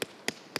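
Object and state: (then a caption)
Unripe melon. Three sharp, bright knocks on a melon, each with a quick ringing tone and almost no low thud. The ringing sound marks the melon as green and unripe rather than ripe, possibly also wilted, because its stem was twisted so it could not ripen naturally.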